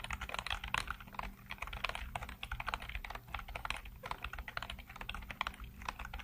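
Fingertips type rapidly on a black plastic full-size computer keyboard with hollow keycaps and blue-lit keys. A dense, continuous stream of short, dry clacks and taps carries a bright edge, with no ring after each keystroke. A faint steady low hum sits underneath.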